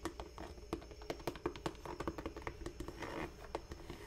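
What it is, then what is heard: Leather boot tapped with nails. Long nails tap and scratch the upper of a single black smooth leather Dr. Martens Chelsea boot held close to the microphone. A quick, uneven series of short, dry taps with a mid-pitched knock is heard over soft scratching, each tap dying away almost instantly.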